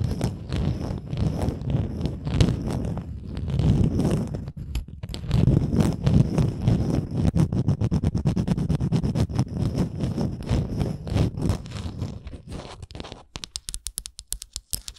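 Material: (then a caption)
Wood. Long acrylic nails scratch along the ridged edges and printed face of a small, flat, solid wooden Canada souvenir ornament with a red string loop. The result is a dense, low, rumbling scratch of rapid, uneven strokes. Near the end it breaks into sparser, sharp, bright clicks.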